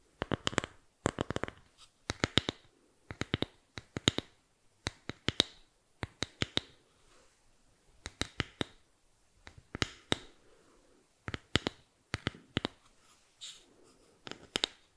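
A small, flat, solid bamboo board with an engraved logo is held in the hands and scratched with fingernails. Short clusters of quick, dry, bright scratching clicks come in bursts with brief pauses between them. Each click stops almost instantly, with no ring.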